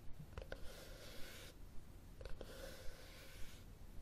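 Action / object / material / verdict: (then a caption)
scrape / cloth-covered hardcover book / cloth, board / none. Fingernails tap and scratch the top cover of a red cloth hardcover book held flat, with the thumb holding the spine. Soft, quiet taps mix with two longer, bright scratching sweeps across the cloth, over a low rumbling background.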